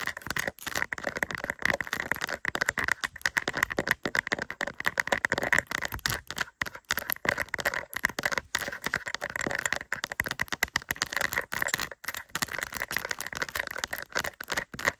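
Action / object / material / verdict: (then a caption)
tap / rhinestone-covered plastic sticker / plastic / none. A small, flat, doll-shaped diamond-painting sticker covered in tiny plastic acrylic rhinestones is held up in both hands and tapped and scratched with long purple acrylic nails. Dense, rapid, clicky taps and scrapes with a bright tone around 2 kHz continue without pause, with almost no low end.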